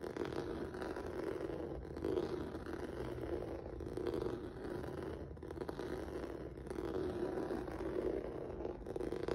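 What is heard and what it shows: Fingertips and nails scratch across a flat black rubber or vinyl mat with a textured noodle surface. The result is a continuous, dense scratchy rasp centered in the low-mid range, swelling and easing in slow passes with brief dips between strokes.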